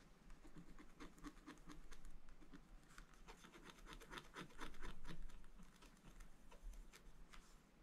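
A wooden stylus held in the hand scratches lines into the black wax coating of a spiral-bound scratch art book, with a rainbow layer beneath, lying flat on a table. Quiet, dry, rasping strokes repeat in quick succession at an uneven rhythm, each with a bright scratchy edge over a steady low hum. The strokes swell louder near the middle before easing off.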